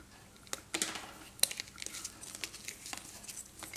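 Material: Chalk.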